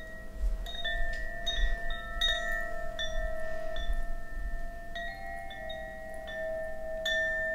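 A bamboo Koshi wind chime with hollow bamboo tubes is held by its cord between the fingers and swung by hand so the rods ring. Irregular bright clinks layer over sustained, overlapping tones near 650 Hz and 1.8 kHz, above a soft low rumble. The chiming swells and shimmers throughout.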